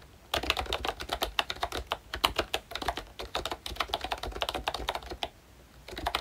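Fingertips of both hands type on a full-size pink ROYCHE Disney Mickey Mouse retro keyboard, a plastic case with round dark green plastic keycaps over membrane switches. Rapid, bright, short plastic clacks with very little ring run steadily, pause briefly near the end, then resume.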